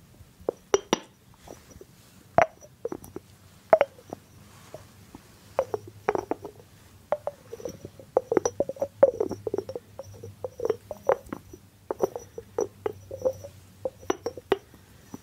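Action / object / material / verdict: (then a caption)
tap / small ceramic jar with a cork lid / ceramic / none. Fingertips tap the rim and cork lid of a small, hollow white ceramic jar with a blue rim, making many short, dry clinks and soft knocks that sit around a mid pitch of about 645 Hz. The taps come in uneven clusters across the clip, and each one dies away almost at once.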